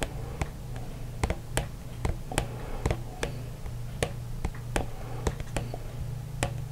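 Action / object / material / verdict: tap / small plastic cup / plastic / none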